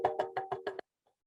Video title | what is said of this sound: STEM NOLA @Home - February 19, 2022 - Mardi Gras Sound | to test it out you can tap on it with your finger as you can hear sounds really good